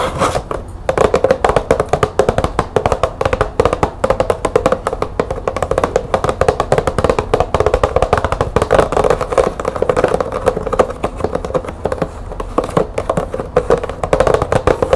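Long nails on both hands tap rapidly on a medium, hollow, green-printed cardboard light bulb box resting on a table. The result is a dense, continuous stream of short, dry clicks with a hollow knock centered near 500 Hz, each tap dying away almost instantly.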